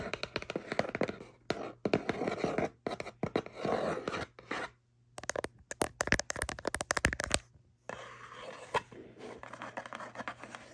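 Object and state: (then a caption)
Cardboard box. A small, hollow kraft cardboard cutlery box resting on bedding is tapped on top with fingertips and scratched along its side panel with long nails. Quick, dry taps and rough scratching come in dense bursts separated by short pauses, with a crisp run of sharp, bright ticks near the middle. The sound is close and papery, and a faint steady low hum runs underneath.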